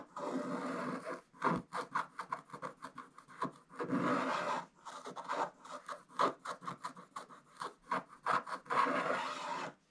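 A wooden stylus scratches the black coating off a scratch-art paper page lying flat, making a continuous dry, raspy scratching. The sound alternates between longer sustained strokes and quick bursts of short strokes, with most of its energy in the mid range around 1 kHz.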